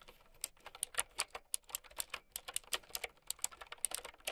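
Fingertips with long painted nails type steadily on a mint and white plastic typewriter-style mechanical keyboard with round keycaps. Quick, bright clicks follow one another in an irregular, steady rhythm, each dying away almost instantly with hardly any low end.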